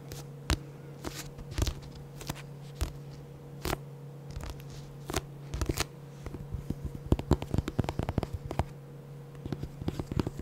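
Fingertips and short nails tap and scratch the glossy card cover and spine of a solid, medium-sized pink paperback novel, producing sharp, dry clicks and brief scratchy strokes. The taps come sparse at first, then cluster into quick bursts, over a steady low hum.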